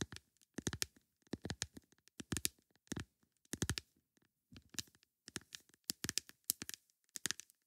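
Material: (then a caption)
Plastic. Long nails tap a plastic lid in quick bursts of dry, bright clicks, each tap dying away at once with no ring. The quiet, close taps come in irregular clusters separated by brief pauses, with a light rustling crinkle between them.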